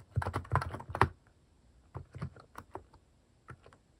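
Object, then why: Plastic mechanical keyboard. A plastic mechanical keyboard with sculpted cat-shaped plastic keycaps, resting on a wooden desk, is typed on with fingertips in rapid key presses. A dense burst of overlapping clacks fills the first second. Sparser individual keystrokes follow with short pauses between them, each a short, dry click with low thock and a bright top.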